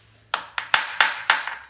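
Seven sharp taps strike the ceramic tiles of a small shower floor during a repair, each a bright, high click with a short ring. One spot is a loose tile.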